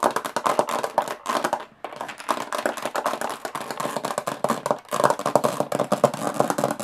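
Long nails tap very fast on the textured lid of a closed, hollow aluminum carry case. The result is a dense, rapid stream of sharp, dry clicks with a slight hollow midrange tone that decays almost instantly. The taps pause briefly near 1.8 seconds and again near 4.8 seconds.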